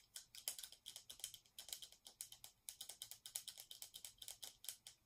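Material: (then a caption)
Plastic. Fingernails tap and scratch quickly on the lid and rim of a small round metallic-finish plastic cosmetic jar with a dark lid. The result is a quiet, rapid run of dozens of crisp, bright clicks with very short decay, mixed with light scratchy rasps and almost no low end.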